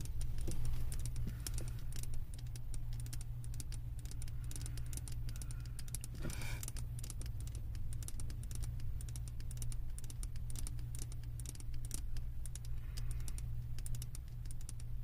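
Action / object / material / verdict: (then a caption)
tap / wax-filled glass candle jar / glass / none. Long nails tap and scratch the base of a wax-filled glass candle jar held in both hands. Rapid, dry clicks and light scrapes patter continuously over a steady low hum, with a brief, longer scratch near the middle.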